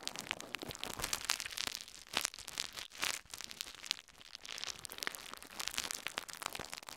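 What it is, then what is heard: Plastic bubble wrap. A thin, clear plastic bubble wrap sheet draped over a recorder is crinkled and crumpled with the fingertips of both hands. Dense, bright crackling and sharp popping snaps come through close, with brief louder bursts and quick decays.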